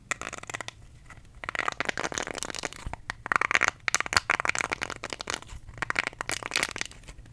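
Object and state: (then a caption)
Silicone face scrubber brush, scratched. Fingertips and nails scratch and rub the bristles of a small, round, pink, solid silicone facial cleansing brush held close to the mic. The result is dense, bright, crackly scratching with almost no low end, coming in bursts of rapid ticks separated by brief quiet gaps.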